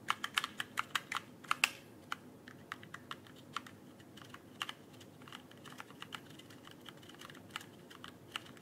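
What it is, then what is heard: Plastic mechanical keyboard. Fingertips tap and type on an RGB mechanical keyboard with plastic keycaps held near the microphone. A quick burst of bright, sharp clicks opens the clip, then sparser, softer key taps follow over a quiet background.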